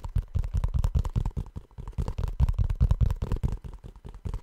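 Fingertips tap and scratch on the rubber toe of a blue rubber shoe. The result is a quick, uneven run of soft, dull thumps with a low, muffled tone and faint scratching, each tap dying away almost at once.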